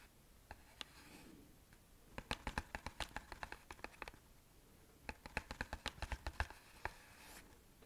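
Fingertips and nails scratch and tap the surface of a small, flat, hollow printed cardboard box of Satya incense held up close. Soft scratching frames two rapid bursts of crisp, dry taps, each tap bright and quickly damped with almost no ring.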